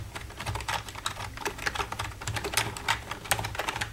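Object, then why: Plastic computer keyboard. Long red-painted nails tap and type on the keys of a black plastic computer keyboard. A quick, uneven run of bright plastic clicks overlaps a soft low thud under each keystroke. The clatter stays dense and steady throughout, with a few sharper taps standing out.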